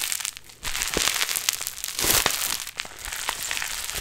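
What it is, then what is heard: Play foam being squeezed. A large pink mass of sticky, soft but solid play foam, tiny foam beads held in a binder, is pulled, squeezed and kneaded close to the microphone with fingertips and long nails. After a quieter opening, it gives a dense, bright crackling and crinkling with many sharp little pops and sticky snaps that carry on throughout.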